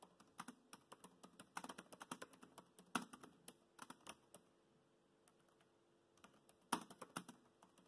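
Fingertips type fast on a laptop keyboard with black plastic keys, making quick, light, clicky taps in uneven bursts. The typing pauses for about two seconds near the middle, then resumes with a sharper tap and another flurry of keystrokes.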